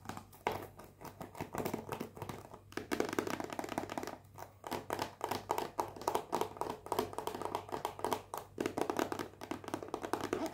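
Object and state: Cellophane-wrapped cardboard box.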